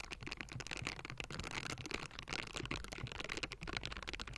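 Hands in pink silicone scrubbing gloves with bristles scratch and tap all over the round, hollow metal mesh grille of a table-top Blue Yeti microphone. A dense, continuous stream of bright, brushy scratching is heard, peppered with quick, dry taps that die away almost at once over a low rumble.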